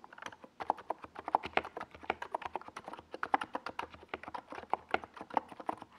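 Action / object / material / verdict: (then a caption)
tap / mechanical keyboard with plastic keycaps / plastic / none. Fingertips of both hands type steadily on a compact NiZ Plum Atom 68 mechanical keyboard with a white plastic case and purple and yellow Domikey Gas Attack SA plastic keycaps, resting on a desk pad. The result is a rapid run of short, dry clacks, each centered around 870 Hz with a little bright edge and almost no low end or ring.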